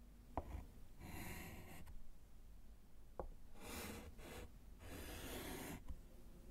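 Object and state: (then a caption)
Chalk writing on a slate chalkboard. A gloved hand writes HELLO on a small, flat, solid wood-framed slate chalkboard with a short orange chalk stub. Dry, raspy chalk scratches sweep across the slate in bursts, with three sharp taps as the chalk strikes the board, over a low, quiet background.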